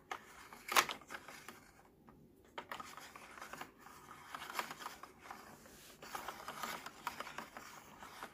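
A fingertip and nail tap and scratch the small yellow and orange hard plastic gear wheels set into a baby walker's plastic activity tray, possibly turning them. Quiet, bright plastic clicks and dry scratching come in uneven bursts, with a sharp tap near the start and a brief lull around two seconds. Each click dies away almost instantly.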